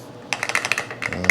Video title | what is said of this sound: Fixing a rusty gas tank while it is still in the car! Part 1 VPT | tapping on top of the tank it sounds dead like a dead thunk so I think it is full